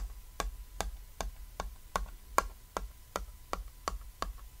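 A fingertip and short nail tap a small, flat, cat-silhouette chalkboard, a thin solid board with chalk writing lying on red fabric. About a dozen short, dry taps come at a steady pace of roughly two to three per second, each dying away almost at once. A faint steady tone and low background rumble sit underneath.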